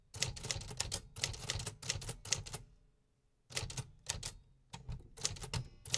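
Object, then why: Metal manual typewriter keys. Fingertips type on the metal keys of a vintage 1950s manual typewriter, producing rapid, sharp, bright clacks over a low mechanical thump. The keystrokes come in quick bursts, pause for under a second, then resume at a steady pace.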